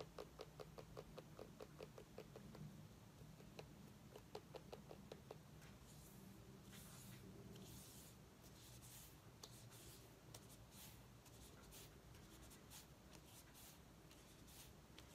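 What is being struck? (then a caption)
Small pumpkin, tapped and scratched with fingernails. Long painted nails tap and scratch a small orange mini pumpkin with a long stem, held in the hands. Quick, dry, sharp taps come in bursts for the first five seconds. Then steady, bright scratching and rubbing follows over a low, quiet background hum.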